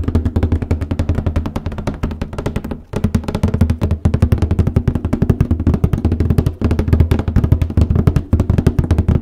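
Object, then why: Cardboard box lid. Fingertips from both hands tap rapidly on the lid of a large white cardboard copy paper box, and fingernails scratch across its top. The result is a steady, dense patter of short, dry, hollow thumps with a deep low body around 74 Hz and very little high content. The patter drops out briefly near 2.8 and 6.6 seconds before resuming.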